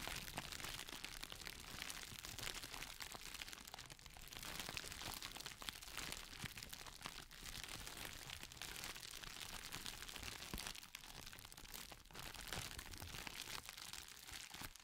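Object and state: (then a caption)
Clear plastic crinkle packaging sheet. A thin, clear, textured plastic packaging sheet, folded into a small bundle and held in both hands in front of a microphone, is squeezed and crinkled by fingertips. It makes a dense, continuous, bright crackling at a fairly steady, soft level for the whole clip, with brief dips where the crinkling eases.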